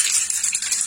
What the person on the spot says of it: Quand vous commencez à bien entendre la bille cogner de haut en bas et faire résonner la bouteille, en fait la peinture elle est déjà bien mélangée.